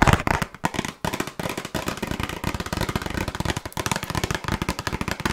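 A small, closed, red printed cardboard box of burger cookies, hollow with its contents inside, is tapped rapidly with long nails. The result is a dense run of short, dry, hollow taps with a low thump and a crisp papery click on top, each dying away almost at once.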